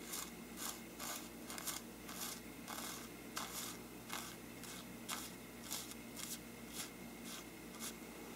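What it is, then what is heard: Paper lampshade brushed along the rim. A small brush scratches and rubs along the upper rim of a hollow, bell-shaped faux-parchment paper lampshade. About ten bright, dry scratching strokes come at an uneven pace over a steady low background hum.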